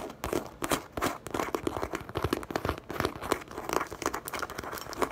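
Long painted acrylic nails rapidly tap and scratch the smooth surface of a medium-sized, hollow, soft-sided brown leather (possibly faux leather) handbag with a zipper pocket, resting on a table. The result is a dense stream of quick, dry, crisp taps mixed with crinkly scratching, each hit short with almost no ring.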